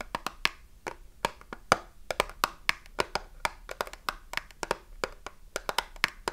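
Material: Cardboard.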